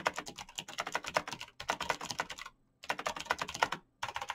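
Fingertips in fingerless knit gloves type fast on a black plastic mechanical gaming keyboard with clicky green switches, backlit keys and a hollow case. Rapid bursts of sharp, bright clicks and clacks with very short decay are broken by brief pauses, around 1.5 and 2.6 seconds and just before 4 seconds.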